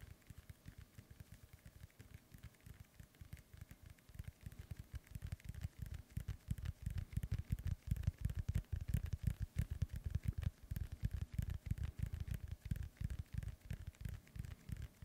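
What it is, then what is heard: Synthetic leather soccer ball. Fingertips and nails tap and scratch the top panels of a hollow, inflated synthetic leather soccer ball. The result is a rapid, irregular stream of soft, dull, low thuds with faint scratchy texture, growing louder and denser after the first few seconds.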